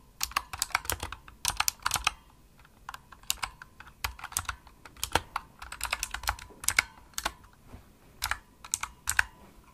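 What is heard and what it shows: Fast typing on a pink plastic Razer mechanical keyboard with backlit keys and a hollow body, struck with long nails and fingertips. Bursts of sharp, bright clicky key presses come in quick clusters separated by short pauses, each tap dying away almost instantly.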